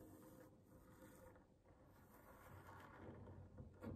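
Long manicured fingernails of both hands scratch and tap across a solid wooden tabletop. A quiet, steady, low-weighted rasping builds gradually, ending in a few louder, short taps.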